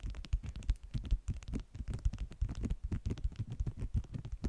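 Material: Waxed cotton.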